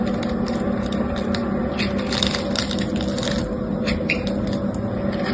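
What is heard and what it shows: A utility knife cuts a grid of small cubes into the surface of a solid white bar of soap held in the hand, then scrapes them off. The result is a steady run of crunchy, crackling cuts and scrapes with bright, sharp edges over a constant low hum.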